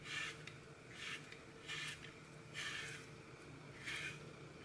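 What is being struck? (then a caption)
Glitter-coated floral foam block. Fingers break and crush a hand-sized block of solid, porous green floral foam, its face coated in red and gold glitter with a cartoon baby picture, over a glass bowl already holding crumbled foam pieces. Five separate bursts of bright, rasping crumbling are heard, each fading back to a quiet, soft background between them.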